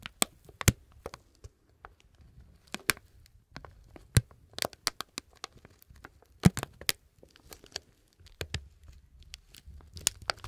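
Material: Plastic.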